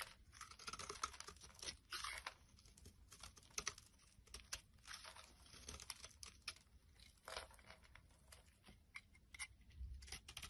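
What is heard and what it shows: A palm-sized, solid oval light blue soap bar with a ridged edge is held in the hand and scraped and crumbled with a knife blade, its flakes falling onto a wooden surface. The result is a steady run of crisp, bright scraping and crunching with quick, tearing crackles that die away almost instantly.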